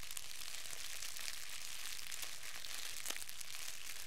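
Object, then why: Thin clear plastic wrap. A fist-sized, hollow, loosely crumpled wad of thin clear plastic wrap is held in both hands and crumpled and squeezed with the fingertips. It makes a steady, quiet, bright crinkling crackle with scattered sharp little snaps throughout.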